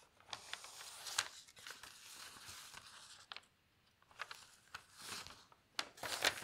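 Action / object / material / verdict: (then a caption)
scrape / newsprint newspaper page / paper / none. A page of an open newsprint newspaper is turned and then pressed flat with the fingertips. It makes a dry, bright crinkling and rustling with sharp crackles, separated by a brief quiet pause. The sound is almost entirely high-pitched papery texture, with very little low end.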